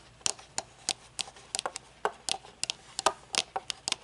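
Long nails tap and scratch along the metal rim and tinted lenses of upright-held metal-frame aviator sunglasses with dark lenses. About 16 crisp, bright clicks and ticks come in a quick, uneven rhythm, each dying away almost instantly with no ring.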